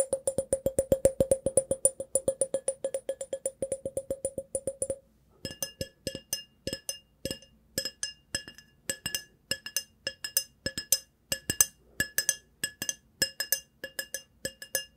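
A tall, clear, hollow and empty glass vase with a decorative pattern is held in one hand and tapped with fingertips and nails. For about five seconds there is a fast, steady run of short, dry taps with a low-mid tone. After a brief pause, sparser, irregular taps follow with a brighter, higher ring, about 53 quick taps in all.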